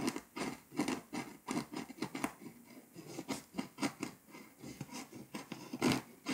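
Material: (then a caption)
Foil-coated paper. A pink scraper tool scratches the foil coating off a flat, paper scratch-off map, leaving loose flakes on the surface. Short, dry rasping strokes come in a quick, uneven series, each a bright scratchy burst with a low papery body around 250 Hz. Quiet gaps fall between the strokes.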